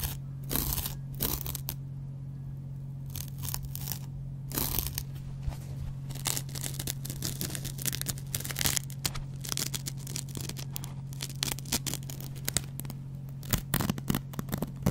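A yellow foam kitchen sponge, turned so its green abrasive scouring pad faces up, is scratched with the edge of a metal double-edge razor blade. Many short, bright, crackly rasping strokes come in uneven bursts over a steady low hum.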